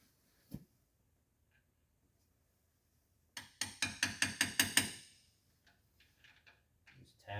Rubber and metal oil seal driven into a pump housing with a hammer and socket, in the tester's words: hear that tone change a little bit whenever it fully seats